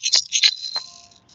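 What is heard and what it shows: A Shawnee rattle made from a turtle shell mounted on a stick, with beans inside that have dried hard, is shaken several times. The hard beans produce quick, bright, hissy rattling bursts concentrated in the high frequencies, each dying away quickly and leaving a faint lingering tone.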